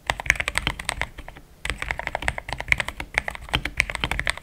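Fast typing with the fingertips of both hands on a compact pink-white mechanical keyboard with thick plastic XDA keycaps, a polycarbonate plate and linear switches, resting on a desk mat. It makes a dense run of short, bright clacks with little low end, broken by a brief pause near the start before the rapid key presses resume.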